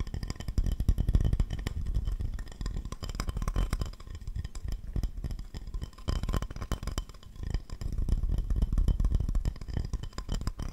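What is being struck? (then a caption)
Glazed ceramic plate. A round glazed ceramic plate with an owl drawing, solid and empty, is held upright close to the mic and scratched and tapped with the fingertips and nails of both hands. The result is a dense, irregular stream of quick, dull, low-heavy taps and scratchy rubbing that dies away almost instantly, with brief quieter lulls between busier bursts.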